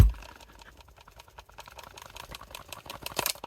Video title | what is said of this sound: Dawson Knives Custom Sheaths | You're hearing some rattling with the strap here, but the actual hatchet inside this scabbard is not moving around. It's really secure in there